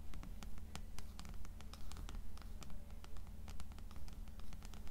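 Long acrylic nails tap and scratch the cover of the blue paperback book "Canticle," which rests on top of a stack of other paperbacks. Quiet, sharp, dry taps fall in a steady rhythm, mixed with soft scratching over a constant low hum.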